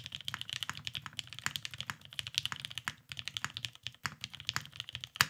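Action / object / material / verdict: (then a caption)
tap / mechanical keyboard with plastic keycaps / plastic / none. A beige tenkeyless Salamander mechanical keyboard with a Cerakote finish, lubed Vintage Black switches and plastic keycaps rests on a desk mat while both hands type continuously with the fingertips. The result is a fast, steady stream of short, bright clacks with a soft low thock underneath, and a sharper, louder keystroke near the end.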